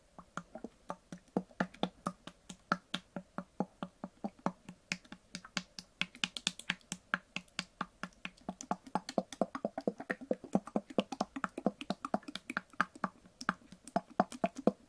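Long nails and fingertips tap and handle a small white translucent plastic cosmetic bottle with a green leaf print, filled with liquid. The result is a rapid, irregular stream of dozens of short, dry clicks with a hollow low-mid body and bright tips that die away almost instantly. The tapping grows denser and slightly louder in the second half.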